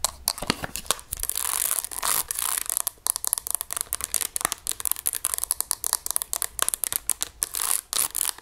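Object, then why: Plastic graphing calculator. Long nails tap and scratch across the rubbery keys and plastic casing of a hollow grey plastic graphing calculator. A rapid run of sharp, clicky taps is mixed with bright, hissy scratching strokes, mostly high in pitch with little low end.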